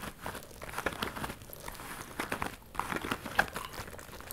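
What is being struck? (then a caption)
Small faux leather purse. Long nails scratch and rub across a small, hollow pink metallic faux leather purse with a ruffled flap. The result is a steady run of crisp, crinkly scraping with quick, dry ticks and brief louder scratches, with little low end.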